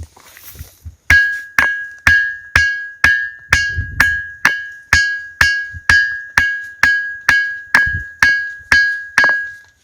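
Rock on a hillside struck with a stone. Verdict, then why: Ringing. A rock on a hill near the Amba Mata temple in Ratlam district, said to ring like temple bells, is struck with another stone 18 times at a steady pace after a few faint taps. Each strike gives a sharp clack followed by a clear, bell-like ring near 1.6 kHz that fades within a fraction of a second.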